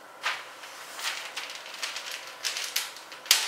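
A long, worn steel motorcycle O-ring roller chain is held up by hand and lowered in a pile onto a Tyvek sheet on the floor. Its links clink and rattle against each other in about six bright, jangling bursts as it settles. The last burst is the sharpest before the chain comes to rest.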